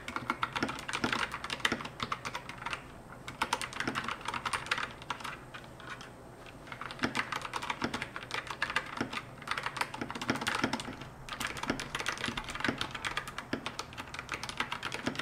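An RK61 60% wireless mechanical keyboard, with a white plastic case and pastel plastic keycaps and connected by a cable, is typed on with fingertips and long nails. Rapid, bright, clacky keystrokes come in bursts, with brief quieter lulls around 3, 6 and 11 seconds. Each click is short and dry, with little low end.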